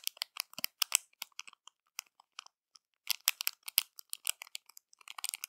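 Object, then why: Clear plastic zip bag holding crumpled foil. Long matte nails scratch and tap a small, flat, clear plastic zip bag holding crumpled silver foil, lying on a dark cloth. Quiet, bright, crisp crinkles and crackles come in short bursts, thin out in the middle, then return in a denser flurry. There is almost no low end, and each crackle stops dry.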